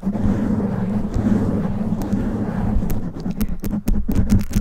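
Long nails scratch and rub the top and sides of a black foam windscreen on a condenser microphone, producing a dense, low, rumbling rustle. Toward the end it breaks into sharper, brighter scratches.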